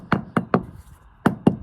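Six short, dull knocks land on a stone base exposed beneath a layer of waterproofing tar under the floor, each dying away almost instantly with no ring. The solid, stony sound marks it as a sound base for building the new wall on.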